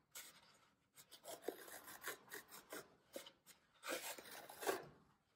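Fingertips press into and crush the top edge of a brick-sized solid block of green phenolic floral foam lying on a white table. Dry, crumbly crunches and bright rasping crackles come in uneven bursts with short gaps between them. The pressing leaves dents and crumbs in the foam.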